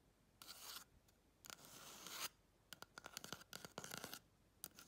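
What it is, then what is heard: Hollow empty cardboard tube. Long nails scratch and tap the surface of a hollow, empty brown cardboard roll tube. Two sustained dry scratching strokes come first, followed by a rapid flurry of short, crisp taps and scrapes and a final brief scratch. The sound is bright and hissy with little low end.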